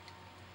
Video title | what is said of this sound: TFL Ford Bronco Scale Crawler Build from Banggood com, part 2, Axles and Trans | it looks like injection molded plastic sounds like plastic feels like plastic